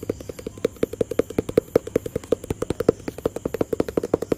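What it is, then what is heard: Cardboard box tapped with fingertips. A hollow, rectangular white, grey and blue cardboard product box is tapped and scratched with fingertips and nails. About 37 quick, dry, hollow taps land in an uneven, rapid rhythm, each with a short mid-toned knock around 450 Hz that dies away at once.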